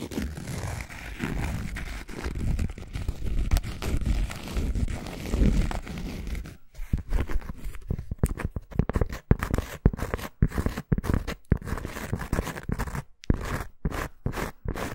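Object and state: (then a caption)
Cork coaster, scratched. A thin round cork coaster held in both hands has its surface scratched with long acrylic nails. For the first six seconds or so, a steady, dull, low-heavy rasping runs continuously. It then breaks into many quick, separate scratches with short silences between them.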